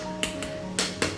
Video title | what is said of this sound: Crispy Pork Belly Lechon Kawali - Easy Filipino Cooking | Ang lutong po ng ating balat na kinalabasan ng pagluluto natin